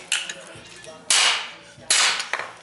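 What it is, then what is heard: Adhesive-bonded aluminium, bond intact. A hammer strikes aluminum bonded with 681 epoxy-type adhesive in a repeat impact test, giving five sharp, bright metallic clanks, three of them loud, each with a short ringing decay. The bond stays intact and holds strong.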